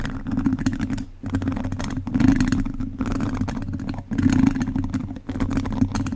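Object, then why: Metal mesh microphone grille. Two wooden chopsticks scratch and rub across a hollow metal mesh microphone grille, making a dense, close-up rasping clatter with a strong low, boomy tone. The scraping comes in about six sustained passes separated by brief dips, each full of bright crackly grit.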